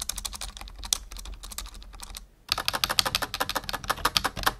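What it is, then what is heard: Plastic computer keyboard. Fingertips of both hands type on a full-size black plastic membrane keyboard resting on a wooden desk, producing quick, bright, clicky keystrokes in an uneven rhythm of about 24 taps. A brief pause falls just past the two-second mark before the typing resumes more strongly, over a faint low hum.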